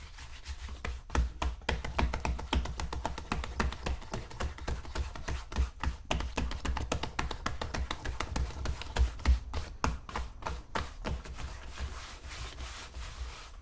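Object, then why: Leather boot upper. Fingertips pat the upper of a tan polished leather wingtip boot, worn on the foot and resting on a shoe-shine stand, in quick rhythmic tapping. Each tap is a soft, short, dull thump, mostly low with little brightness, repeating at an uneven pace of several taps per second with brief pauses.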